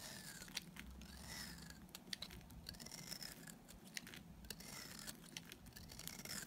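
A small, solid, dry white bar of soap held in the hand is shaved with a utility knife blade. Bright, crisp scraping strokes repeat with sharp ticks and flaking crackles over a faint low rumble.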